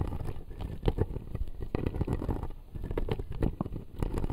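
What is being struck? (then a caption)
Acrylic dental model with plastic teeth. Fingernails scratch and tap the front teeth of a clear acrylic dental model with plastic teeth. The result is a dense run of soft, dry clicks and scrapes with a low, muffled body and almost no ring.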